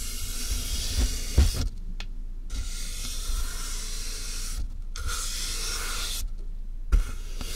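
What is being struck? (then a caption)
Closed corrugated cardboard box. A soft makeup brush is rubbed over the top of a medium, closed corrugated cardboard box with a microphone inside the hollow box. It makes a steady, bright brushing hiss over a deep, boomy low rumble, with brief silent pauses between strokes and a few soft low thumps.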